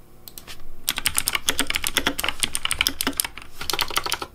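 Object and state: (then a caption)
Plastic mechanical keyboard. Fingertips type quickly on a pink plastic Razer Deathadder V3 Pink mechanical keyboard with hollow plastic keycaps. A dense run of sharp, bright clicks and clacks over a low, hollow thock starts softly, then keeps up steadily. The pace dips briefly near the end before resuming.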